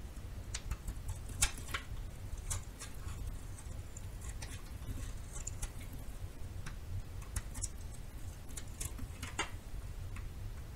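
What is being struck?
Bar of soap cut with a small knife.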